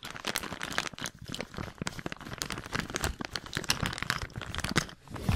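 A medium-sized, thin, transparent plastic bag, hollow and apparently empty, is crinkled and rubbed between the fingertips of both hands, held close to the recorder beside the ear. Dense, continuous crackling and crunching fills the clip, with sharp bright snaps over a low rustle and brief quieter dips around one and five seconds.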